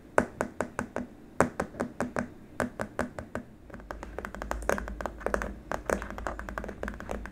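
Fingertips and short nails of both hands tap rapidly on a long, flat, white hard-plastic keyboard wrist rest, a solid slab with small rubber feet resting on a dark surface. Crisp, dry, short taps with a clicky mid-range tone come first as separate, unevenly spaced hits. They then speed up into a denser, overlapping patter over a faint low rumble.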